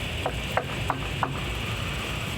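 Four light knocks on a wooden surface, evenly spaced, each a short, dry tap. They sit over a steady low hum and a faint high hiss, and nothing rings after them.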